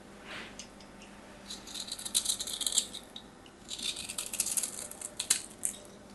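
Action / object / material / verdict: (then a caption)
scrape / bar of soap scraped with a knife blade / soap / none. A palm-sized solid white bar of soap, held in the hands, is scraped and carved with a metal craft knife blade so dry flakes come off. The result is bright, crisp scratching and rattling in quick bursts, with a short faint swish near the start.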